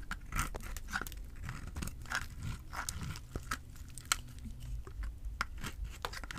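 A small, solid white bar of dry soap with an orange side is held in the hand and carved with a utility knife blade, flaking off shavings. Repeated short, dry crunching scrapes with bright, crisp edges rise over a steady low rumble. Each cut stops sharply with no ring.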